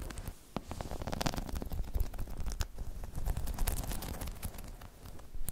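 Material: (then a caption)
Rubber. Long chrome nails scratch across a hollow, dome-shaped spiky rubber balance pod. The result is a dense, continuous crackle of quick, dry scratches and taps over a deep, muffled low rumble, with brief bright clicks flickering on top.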